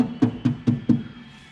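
Four knocks on the metal door of a 1980s Ferrari 328 GTS, a door thicker than expected. Each knock is a short, dull, low-pitched thud that dies away almost at once. The door sounds solidly like metal.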